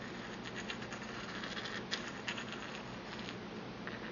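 A porcelain pestle grinds and taps against the inner bowl of a small, empty white porcelain mortar held in the hand. A steady, dry scratching scrape runs throughout, broken by a few sharp, bright taps that ring only briefly.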